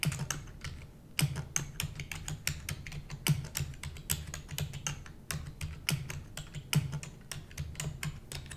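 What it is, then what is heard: Plastic computer keyboard being typed on. Rapid typing with long nails on a black plastic computer keyboard: a fast, uneven stream of sharp, bright clicks. The clicks die away almost at once over a steady low hum.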